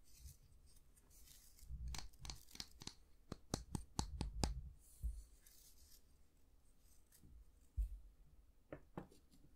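Fingernails scratch and rub along the solid light wooden handle and bristles of a slim, long-handled bristle brush held in both hands. The result is quiet, dry scratching and rustling broken by a run of sharp, crisp clicks, with short pauses between them.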